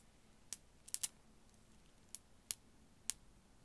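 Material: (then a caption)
Glass. A strand of small faceted blue glass beads, held by the fingertips beside the microphone, is gently shaken and dangled. Six sparse, bright clicks of the solid beads knock together, each short and dry with almost no ring, over a faint quiet background.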